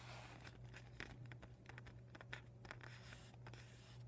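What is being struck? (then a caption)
Vinyl beach ball. Painted nails scratch and rub the thin, glossy plastic of a deflated vinyl beach ball with white and red panels. Soft crinkling and scraping come in a quick run of short, bright ticks over a quiet, steady low hum, and each one stops almost at once.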